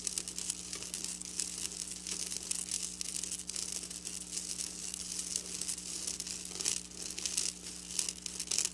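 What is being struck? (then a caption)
Sequin fabric scratched with fingernails. Long black nails scratch across flat silver sequin fabric, close up. The sound is a bright, continuous crinkly rasping with quick uneven bursts of scraping and a faint steady low hum underneath.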